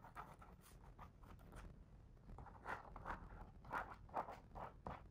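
A fingertip traces and taps the printed words on the paper pages of a large open hardcover picture book, staying on the same spread throughout. Soft, dry taps and brief brushing scrapes centered in the midrange come at an irregular pace of about two to three per second. They sit over a faint low rumble, and each touch dies away almost instantly.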